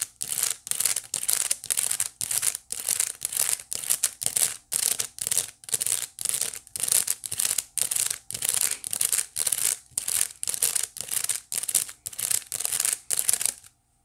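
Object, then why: Small woven wicker basket. Long nails scratch back and forth across the flat woven face of a small, hollow white wicker basket. The result is a steady series of bright, dry, raspy scratching strokes, about two per second, each separated by a brief pause, with almost no low end and no ringing.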